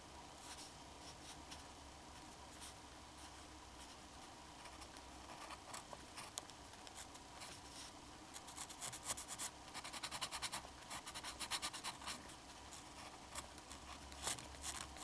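A black fountain pen's metal nib scratches and rubs across a flat sheet of drawing paper, hatching in a figure. Quiet, bright, dry scratchy strokes come in irregular bursts, growing denser and louder after the middle, over a steady low hum.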